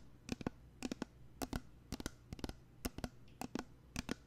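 Fingernails tap and scratch a small pink plastic body mist spray bottle with a label and white cap, apparently filled with liquid and held up to the microphone. Quiet, dry clicks come in quick pairs and triplets, each with a faint hollow tone around 246 Hz and a bright tick that dies away almost instantly. Light scratching fills the gaps.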